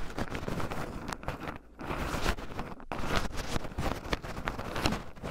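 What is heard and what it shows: Two wooden chopsticks stir and poke through a small wooden bowl heaped full of raw shelled pine nuts, with two black microphones buried in the pile so the nuts rub against them. The result is a dense, continuous run of soft, close-up crunchy scratching and rustling, mostly low in tone. Two brief near-silent gaps interrupt it.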